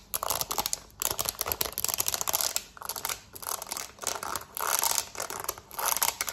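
Long nails tap and scratch fast across the buttons of a black plastic TV remote held in the hand. Dense, bright clicking and scratchy rasping come in rapid bursts, broken by brief pauses about once a second. The sound is dry, with almost no low end.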